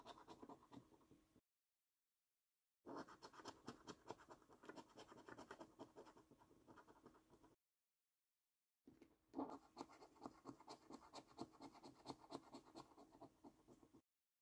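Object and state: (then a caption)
Paper scratch card being scratched. A copper coin scratches the scratch-off coating on a thin, flat paper National Lottery £15 Luxury Lines scratch card. Rapid, dry, rasping strokes come in three bursts separated by two short silences, with a mostly mid-range scrape. A single louder scrape stands out early in the last burst.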